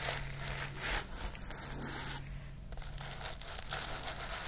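Fingernails and fingertips brush and scratch across the sequins of a pink sequin fabric pouch, producing a continuous bright crinkling, rustling texture with small crackly peaks. A steady low hum runs underneath throughout.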